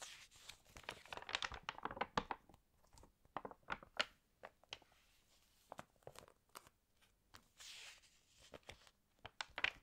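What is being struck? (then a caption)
Glossy paper magazine. Long painted nails lift and turn the pages of an open glossy paper fashion magazine, and flat fingers smooth the spread. Quiet, bright crinkles and sharp paper ticks come in quick clusters, broken by brief soft swishes as the pages are smoothed.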